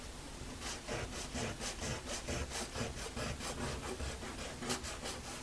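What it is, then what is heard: Paper sketchbook page being erased. A white eraser is rubbed back and forth over the page of a small spiral-bound sketchbook lying flat on a wooden desk, open to an inked butterfly drawing, while one hand holds the page down. The rubbing makes a steady run of soft, scratchy, breathy strokes, about two per second and somewhat uneven, with a bright hiss on each pass over a low, dull rumble.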